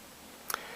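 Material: Eggshell.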